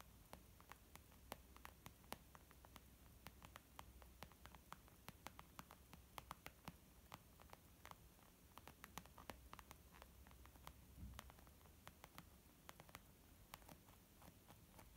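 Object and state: Leather makeup bag.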